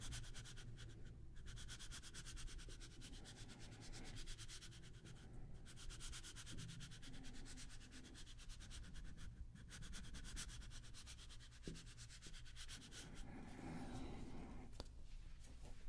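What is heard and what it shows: A small deck of coated-paper playing cards is rubbed by fingertips, the cards sliding against each other close to the microphones in a steady, dense, dry rasping with a bright papery edge over a low rumble. Near the end the deck is lowered in both hands.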